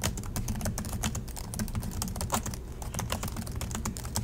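Both hands type steadily with their fingertips on the black plastic chiclet keys of a silver Acer laptop resting on a desk. A rapid, continuous stream of short, bright plastic clicks and taps is heard. The clicks decay quickly over a steady low rumble.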